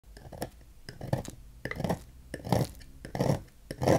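A solid green oval bar of Dex soap, held in the hand, is scraped and cut at its edge with a knife blade, with the shavings piling up on a white table. Soft, dull scraping and crumbly cutting strokes come in short bursts at an uneven pace, mostly low in tone, with faint bright edges.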